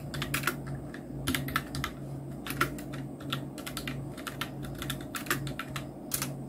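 Fingertips of both hands type on a full-size black Nubwo Illusion NK-70 mechanical keyboard with Outemu red switches, round plastic typewriter-style keycaps and blue backlight. The result is a steady stream of quick, bright plastic clicks and clacks with short decays, some keystrokes louder than others, over a constant low hum.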